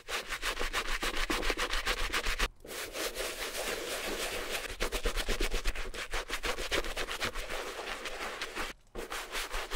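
A wooden-backed bristle brush, held in the fingers, scrubs back and forth over a small, hollow red suede Gucci mini handbag with bamboo handles that is covered in wet shampoo foam. Rapid, steady strokes make a bright, bristly, wet rubbing hiss. The scrubbing pauses briefly around 2.5 seconds and again near 8.8 seconds.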